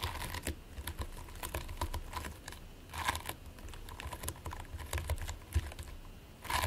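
Short-nailed fingertips press, squish and scratch into a flattened mound of purple and white play foam made of polystyrene microbeads, resting on a white plate. Dense, crackly, sticky clicks and crinkles come in quick bursts, bright on top over a soft low rumble.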